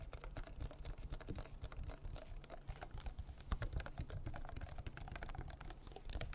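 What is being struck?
Small plastic water bottle.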